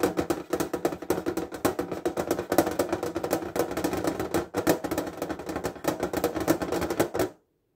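Fingertips tap quickly on the lid of a metal fineliner tin case lying flat on a table, its hinged edge facing forward. A rapid, steady stream of short, light, tinny clicks rings with a hollow midrange tone and very little low end. The taps continue without pause and stop abruptly just before the end.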